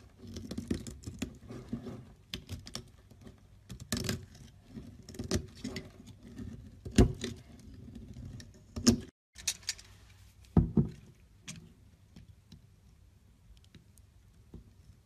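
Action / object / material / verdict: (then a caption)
scrape / bar of soap carved with a blade / soap / none. A solid, hand-sized green bar of soap held in the hand is carved and scraped with a utility knife blade, peeling off shavings. Quiet, irregular scratching and crackly patter follow each stroke, with a few sharper, louder cuts standing out partway through and a brief silence before the scraping resumes and tapers off.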